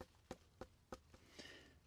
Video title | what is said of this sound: How to Tell When Vegetables Are Ready to Harvest | that does sound a bit hollow, but you you're hoping for a a real hollow sound